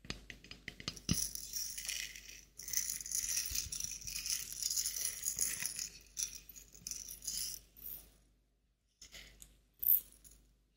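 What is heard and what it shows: A small glass clip-top jar with a metal clasp lid, partly filled with dried flowers, is shaken and turned while fingernails tap and touch the glass and clasp. Bright, crisp rustling and rattling comes in irregular bursts with many quick, light clicks. A short sharp tap near the end is followed by near silence.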